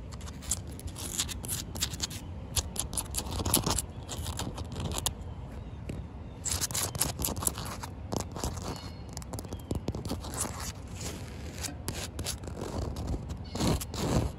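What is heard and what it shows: Short white nails tap and scratch across a solid, wet concrete slab of damp outdoor pavement. Quick, dry clicks and gritty scrapes come in dense bursts with bright, crisp edges and almost no ring. A low background rumble runs underneath throughout.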